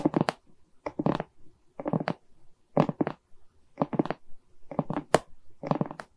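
Long nails scratch and tap across the resin rhinestone beads of a diamond painting on a wooden frame. The result is clusters of quick, dry clicks and short scratchy rasps, mostly in the low-mid range, separated by brief pauses.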